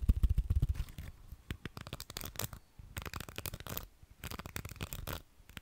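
Fingertips and nails scratch and strum across the dense, stiff pins of a small round beige plastic hair brush held in both hands close to a microphone. Rapid, bright clicking ticks come in bursts over soft low thumps, heaviest in the first second, then lighter runs separated by brief quiet gaps.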